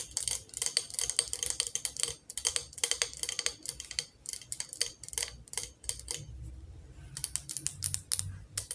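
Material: Glass.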